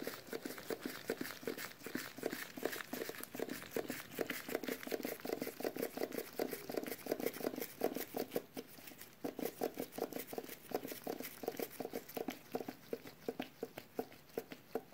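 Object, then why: Small sealed metal food can. Latex-gloved fingertips rapidly tap the lid and side of a small, full, sealed metal food can with a paper label. The taps are quiet, short and dull, centred in the midrange with little ring, and come in an uneven patter of roughly two to three per second. A brief lull falls around the nine-second mark, and faint crinkly rustling sounds throughout.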